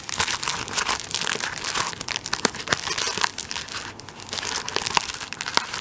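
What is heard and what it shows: A hand-held, plastic-wrapped tissue paper roll has its plastic film scratched and tapped on top with fingertips and nails. The result is a steady, bright crinkling rustle with many quick, sharp taps and scratches and almost no low end.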